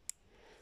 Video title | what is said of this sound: 3 Rock Types | it's very hard almost sounds like glass very solid